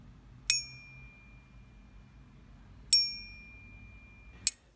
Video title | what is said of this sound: How to Test Silver: Home Test Methods! | silver rings silver rings for a little while longer